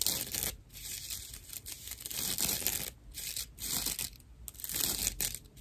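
A dry natural loofah pad, a fibrous plant material held flat in one hand, is scratched with long nails. It gives rough, bright, crackly scratching in uneven bursts that swell and fade, with a hissy, mostly high-pitched texture and little low end.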